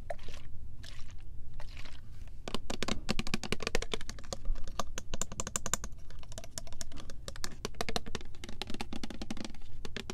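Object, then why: Plastic spray bottle filled with liquid. Long nails tap and scratch along the body and gold pump of a clear plastic Love Spell body mist bottle with purple print, filled with liquid. Quick, crisp clicks and scratchy taps come in dense, uneven bursts for the whole clip, some sparse and some rapid, over a steady low hum.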